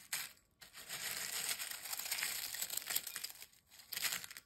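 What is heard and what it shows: A pile of broken, dry, crisp potato chip fragments is crushed and pressed with fingers and a hand inside a glass bowl. It makes bright, dense crunching and crackling, a short burst, a long sustained stretch, then a final burst, with brief quiet gaps between them.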